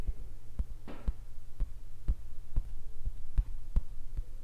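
Several fingertips tap and drum on the blue painted area of a large stretched canvas on an easel, its taut, hollow-backed fabric giving soft, dull, low thumps at an uneven pace of about two per second. Each tap dies away almost instantly over a steady low hum, and a brief brighter brushing sound appears early in the clip.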